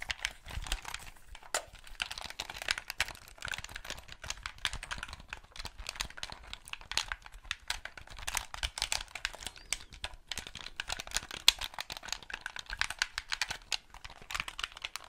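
Fingertips press the buttons and tap and click the hollow plastic shell of a white, hand-sized Xbox 360 gamepad. The result is a fast, dense stream of dry, bright plastic clicks and taps with a crinkly texture and little low end. Each sound stops almost instantly with no ring.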